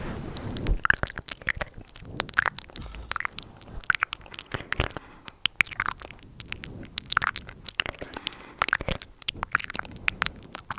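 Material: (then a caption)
Synthetic fur. A handheld microphone with a fist-sized, soft, fluffy synthetic-fur windscreen is cupped in both hands and rubbed with fingertips and long nails. The result is a muffled rubbing and scratching sound, broken up by many short, sharp, bright crackles and crunches.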